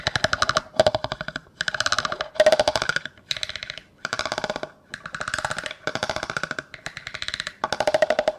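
A large, hollow, empty clear plastic cup, held with its open end toward the microphone, is rapidly scraped and tapped with a yellow plastic comb. The sound is a series of short bursts of fast, dry clicking, with a hollow plastic tone ringing faintly through them.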